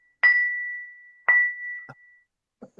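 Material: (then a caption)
Ceramic. A ceramic bonsai pot fired at high temperature (about 1230–1240 °C) is tapped twice, each tap giving a clear, bell-like ring near 2 kHz that sustains and slowly fades, followed by a few soft, low thumps. The ringing tone shows the pot was fired high and is strong.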